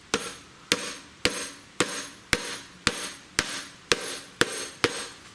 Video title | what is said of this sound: Harley Front Fork Seal Replacement 39MM How To Part 2 | I can hear that it bottomed out. Changes tone.